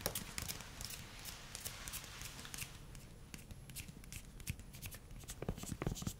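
A solid pink silicone spatula with a long grey handle is tapped on its head and handle, first with fingernails and then with fingertips. The result is a quiet, irregular stream of short, dry taps. Bright clicky ticks mix with soft, dull low thumps.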